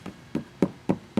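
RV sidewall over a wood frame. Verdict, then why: Rotted. Five dull, short knocks on the sidewall of a 2002 Sunnybrook Class C coach, an RV wall over a wood frame, each a low thud around 190 Hz that dies almost instantly with no ring. The wall is rotted and puckering inward, with rot behind it that generally comes from roof leaks.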